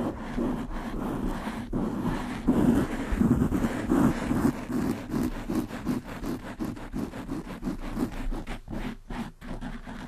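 Long manicured nails of both hands scratch fast over the soft, porous, hollow black foam windscreen on a large black desktop USB microphone. The result is a dense, continuous, muffled scratching and rustling with a low, boomy body, swelling and receding in quick, uneven strokes, with only faint brightness above.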